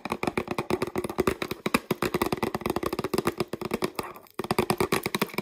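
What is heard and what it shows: Long nails tap and scratch the sides and label of a mostly empty clear plastic peanut jar, giving a rapid run of short, dry clicks with scratchy hollow rasps between them. The tapping pauses briefly just past four seconds, then resumes at the same quick pace.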